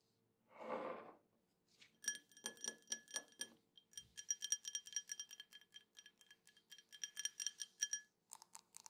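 A drinking glass is tapped over and over, giving quick, bright clinks with steady high ringing tones that die away fast. A softer brushing noise comes first, and the taps then run in dense clusters.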